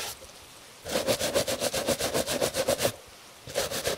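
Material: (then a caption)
Leather. A gloved hand brushes the surface of a tan leather Italian dress shoe held on a table with a bristle shoe brush. A quick, steady run of bright, scratchy swishes is heard, each with a faint mid-pitched tone. After a short pause, more strokes follow.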